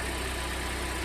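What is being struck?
Nothing is struck.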